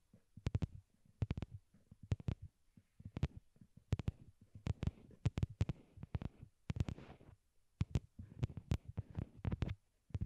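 A pair of small white hollow plastic wired Apple earbuds, used as the microphones, rests on a cork board and is tapped with long glittery nails. Quick, dull, muffled thumps come in irregular bursts and clusters, sitting low and boomy around 117 Hz. Each tap dies away almost instantly with no ring.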